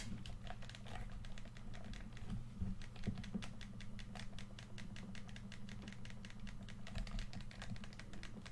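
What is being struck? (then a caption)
Plastic game controller. Fingertips rapidly click the buttons and tap the shell of a hollow red plastic PS4 controller. A dense, continuous stream of short, dry, bright clicks and taps plays over a steady low hum.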